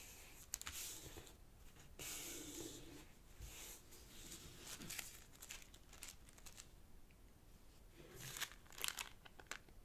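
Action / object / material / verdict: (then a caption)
scrape / thin origami paper sheet / paper / none. A small square of purple origami paper on a black cloth table is folded by fingertips, and the creases are pressed down. Soft, bright crinkling and rustling rises and falls across the clip, with sharper crackles near the start and end.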